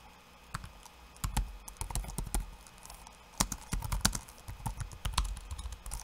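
Bare fingertips tap rapidly on a backlit laptop keyboard with plastic keycaps. Quick, irregular bursts of short clicky taps carry a dull low thump under a bright tick, each dying away almost at once. Brief pauses separate the flurries.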